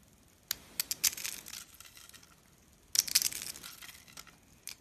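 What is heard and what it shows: Pieces of solid, brittle white rolled dry-soap spiral and curls are broken off and crushed with the fingertips. Two bursts of dry, bright crunching and crackling come one after the other, with sharp snaps trailing into fine crumbling, and a last small crunch at the end. The sound is thin and high with almost no low end.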